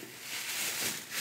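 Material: Nothing is struck.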